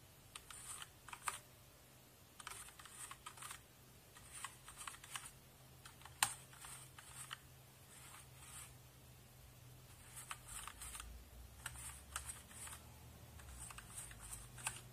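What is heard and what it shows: A hand sweeps a small bristle brush over the plastic keycaps of a full-size backlit HP mechanical keyboard. Bursts of bright, scratchy bristle noise come with light key clicks, spaced by short pauses over a low steady hum.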